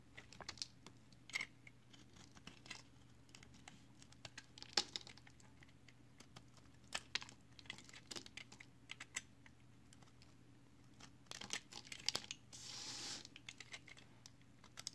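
A box cutter blade shaves a solid, multicolored recycled soap bar made of soap chips, held in the hand, and chunks crumble off. Dozens of quiet, crisp, bright scrapes and crackles sound over a low steady hum, with a brief continuous hissing scrape near the end.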